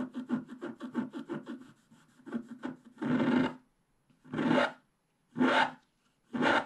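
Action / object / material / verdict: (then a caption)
scrape / scratch-art card with wax coating, wooden stylus / wax coating / none. A wooden stylus scrapes the black wax coating of a flat scratch-art card over its colored base, near the unicorn's head and sky. A quick run of short, dry scratches is followed by four longer, louder rasping strokes separated by brief silences, with a bright, papery texture.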